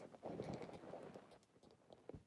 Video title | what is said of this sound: ASMR Role-play Crystal Shop (Real person ASMR, ASMR sound triggers) | It's got quite a lovely tapping quality.